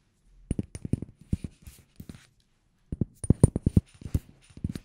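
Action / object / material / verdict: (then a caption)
tap / small amber glass bottle with plastic cap / glass / none. Fingertips and nails tap a small amber glass cosmetic bottle with a black cap and white label, held in one hand near the microphone, striking both the glass and the cap. About 21 short, dry, low-pitched taps come in two quick bursts, with a brief pause between them, and each tap dies away almost instantly.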